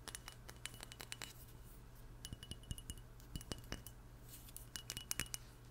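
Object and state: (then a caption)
Glass perfume bottle. Long nails tap a small glass perfume bottle with an oval label and a black cap, making a quick, irregular run of bright, chiming clinks that cut off almost at once. The taps come in loose clusters over a quiet, steady low hum.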